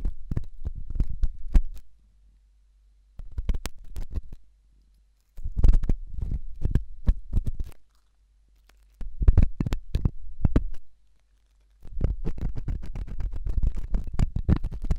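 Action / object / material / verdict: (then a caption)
scrape / silicone ear microphone scratched with a steel probe / silicone / none. A thin hooked stainless steel probe scratches inside the ear canal of a white silicone ear-shaped microphone. The result is deep, muffled, rumbling scratches with dense crackly strokes, heard in five bursts separated by short silences.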